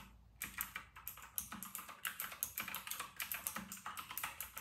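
Both hands type fast on a full-size white RK960 mechanical keyboard with round retro plastic keycaps. The result is a rapid, uneven stream of bright, crisp clacks, each dying away almost instantly, with a soft low tap under some strokes.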